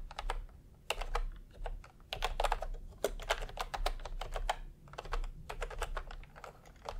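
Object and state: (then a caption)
Plastic computer keyboard being typed on. Fingertips tap across a full-size plastic typewriter-style computer keyboard with round retro keycaps in peach and cream, lying on a white cloth. Quick, uneven bursts of crisp, clacky keystrokes come in short runs with brief pauses, each tap short and bright over a steady low background rumble.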